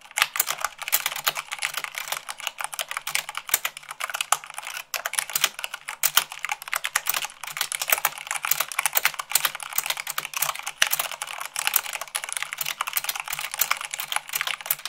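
Rapid typing with fingertips and long nails on a white plastic mechanical keyboard. A dense, steady stream of short, bright clicks with almost no low end and a dry, quick decay, briefly pausing near the five-second mark.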